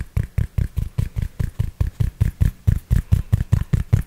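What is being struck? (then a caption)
Cloth baseball cap. Fingertips tap and scratch the crown fabric of a grey cloth baseball cap held beside the mic. About 21 soft, muffled thumps come in a quick, fairly steady rhythm, each with a faint brushing scratch. The sound is deep and dull, with almost no bright edge.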